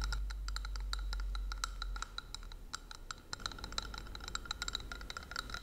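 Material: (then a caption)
Plastic. Long nails tap a small, hollow, clear plastic ornament ball with an angel figurine inside while it is held up. The result is a rapid, irregular run of light, dry clicks with a bright, glassy tone and almost no ring, over a low background rumble that is louder in the first two seconds.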